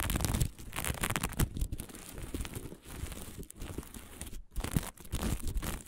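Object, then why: Fabric patch covered in plastic sequins. Long fingernails on both hands rapidly scratch a small flat patch of fabric covered in green and blue plastic sequins. The result is a dense, continuous crinkling and rasping with quick bright clicks, swelling and dipping in loudness as the strokes change.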